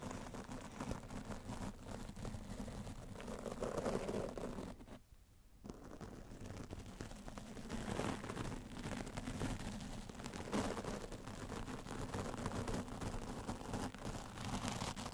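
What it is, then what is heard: Foam microphone windscreen. A round shaving-style brush with a wooden handle, held in the fingertips, brushes and rubs the bristles over a black foam windscreen mounted on a microphone. It makes a continuous, close, muffled scratching rustle with a low rumble. The rustle drops to near silence for about half a second around the five-second mark, then resumes steadily.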